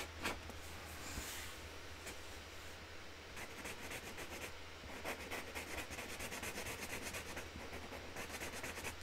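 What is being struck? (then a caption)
Cardboard box lid with marker. A hand colours on a flat white cardboard box lid with a pink Sharpie marker, the tip rubbing scratchily across the cardboard. Quick bright strokes repeat throughout, growing denser in the second half, over a steady low hum.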